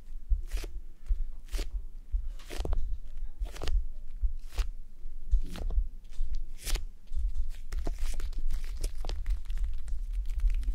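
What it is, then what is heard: Plastic gel bead eye mask. Fingertips and long nails scratch over the eye area of a red plastic gel bead eye mask on a mannequin head. Short, bright, crackly scrapes and crunches repeat irregularly over a steady low rumble, growing denser toward the end.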